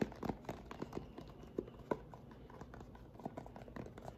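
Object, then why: Plastic lotion pump bottle. A white plastic lotion pump bottle, held sideways, is tapped rapidly with fingernails along its body. The result is a quiet, quick patter of dry, hollow clicks that stop dead with almost no ring, centered low in pitch, with a few sharper taps standing out.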